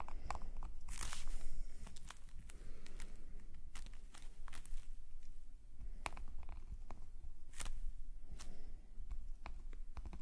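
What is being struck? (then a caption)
Metal pen nib on paper sketchbook page. A metal calligraphy nib scratches ink lines across a black paper sketchbook page held steady by the other hand. Short, dry scratches and ticks come in irregular strokes, with brief bright clicks over a steady low rumble. The strokes settle into an uneven, rapid drawing rhythm for the length of the clip.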